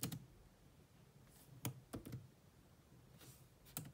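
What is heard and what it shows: A grey laptop keyboard with black plastic keys is typed on with two hands, using long nails and fingertips. Short, dry clicking taps come in sparse, irregular clusters at the start, middle and end. Each tap has a low thump with a bright tick on top and dies away almost at once over a soft, quiet background hiss.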